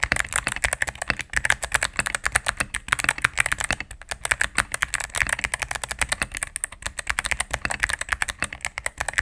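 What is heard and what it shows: A cream full-size mechanical keyboard with plastic keycaps on a solid plastic case is typed on rapidly with fingertips and medium-length nails. A steady stream of sharp, dry clicks sounds with a bright, clacky tone, each keystroke dying away almost instantly.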